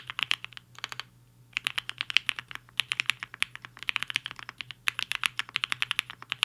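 Fingertips of both hands type quickly on a HI-FINGER 7.5, a black-cased 75% mechanical keyboard with a hollow case and white and pink plastic keycaps, resting on a desk mat. The result is bright, dry, clacky key strikes in rapid bursts, with a brief pause just after the first second, over a faint steady low hum.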